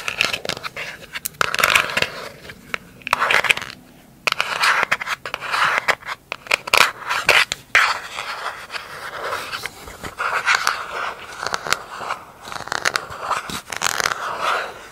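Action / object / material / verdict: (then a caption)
scrape / plastic lid / plastic / none. Long acrylic nails scratch and tap the underside of a round, hollow, empty pink plastic lid. Dense, bright, papery scraping is broken by sharp clicky taps, with short pauses between bursts. The sound sits mostly in the upper mids and highs, around 2.4 kHz, with almost no low end.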